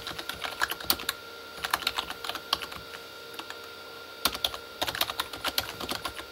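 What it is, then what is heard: Plastic keyboard, hollow. Both hands type with their fingertips on a full-size Corsair K35 backlit mechanical keyboard, which has plastic keycaps on a hollow plastic body. Quick, bright plastic taps come in bursts of rapid keystrokes with short pauses between them, each click dying away almost at once with very little low end. A faint steady tone hums underneath throughout.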